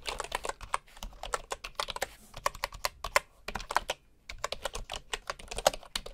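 Fingertips type on the left edge of a bamboo wooden computer keyboard, with a bamboo mouse lying untouched nearby. Rapid, short, clacky key taps sound with a bright, dry character and almost no ring. The typing pauses briefly around the second and fourth seconds before continuing.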